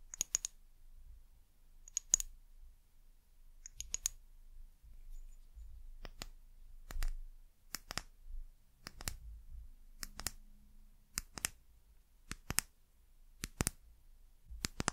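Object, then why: Small amber glass bottle. A small amber glass bottle with a white cap is turned in the hands while long nails tap its glass body and base. Quiet, sharp, bright clicks come in small clusters and single taps across the clip, each dying away almost instantly, over a soft low rumble of handling.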